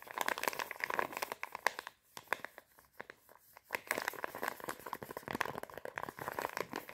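Long painted nails rapidly tap and scratch a flat, round, pink Sephora face mask sachet, a thin sealed foil-and-plastic laminate packet held in both hands. The result is a dense run of crisp, dry crinkles and clicks centered in the mid-range. It thins to sparser, quieter taps for a moment midway before picking back up.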